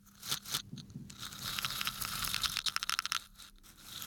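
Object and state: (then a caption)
Wooden toothpicks scratched by fingertips. Fingertips brush and scratch across the upward-pointing tips of wooden toothpicks packed in a small yellow cylindrical container held in one hand. The sound is a dry, bright crackling and rustling, swelling into a quick run of sharp, clicky ticks before thinning out. There is almost no low end and no ringing after each tick.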